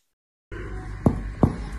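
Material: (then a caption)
Chest wall. Chest percussion over the lung along the anterior axillary line, moving from the clear note toward the dull one: two low, hollow taps over a steady low background. Each tap gives a short, resonant note, the normal clear sound of lung.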